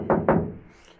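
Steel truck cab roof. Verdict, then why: Reverberant. Two knocks on the steel cab roof of a second-generation Ram truck produce hollow, mid-low thuds that ring with a lot of reverberation before fading. The roof reverberates excessively, which is why it needs rubber mats and foam to deaden it.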